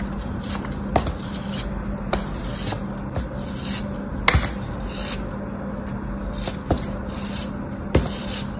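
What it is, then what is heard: Kinetic sand block cut and scraped with a blade. A metal blade slices and scrapes a small, solid molded block of beige kinetic sand held in fingers with orange nails. A steady, gritty scraping runs throughout, broken at intervals by sharp, bright crunching clicks as the blade cuts through.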